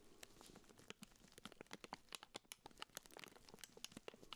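Black-gloved fingertips rub and crinkle the clear plastic wrap around a small round pink urinal deodorizer cake. The result is a quiet, steady run of sharp, bright crackles and crisp snaps over a soft rustling bed, with each crinkle dying away almost instantly.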